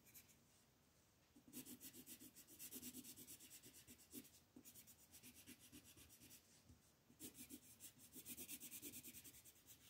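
A dark green wooden colored pencil shades leaves near the edge of a mandala on a flat printed paper coloring sheet resting on a table. Quick back-and-forth rubbing strokes give a soft, bright, scratchy hiss with a faint low thump on each stroke. The strokes come in rhythmic bursts separated by brief quieter pauses.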